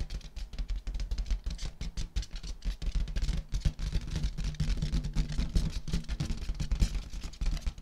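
Fingertips and long nails tap rapidly on a large inflated rose-gold metallic latex balloon, hollow and air-filled. The result is a dense, continuous patter of deep, dull thumps that die away almost instantly, with faint bright clicks from the nails on top.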